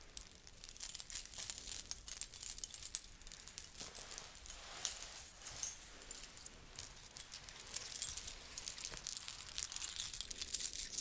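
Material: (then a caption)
Metal. A blue belly dance hip scarf with small metal coins and beads is draped and shaken by hand near the microphone. The coins jingle in a steady, bright, shimmering rattle of many tiny overlapping clinks, with little low end.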